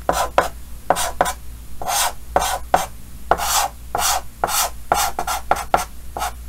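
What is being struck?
Chalk on a painted chalkboard.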